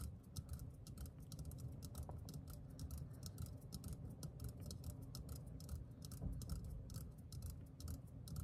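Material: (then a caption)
Metal. Fingertips and nails tap rapidly on the side and then the bottom of a green, hand-sized, hollow metal aerosol deodorant can. The result is a quiet, dense stream of light, bright clicky ticks with very short ring, over a steady low rumble.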